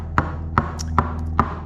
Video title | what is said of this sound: Fall 2021 - Boat Work Video #1 - Sounding the Hull | See, a nice sharp sound on this good wood here.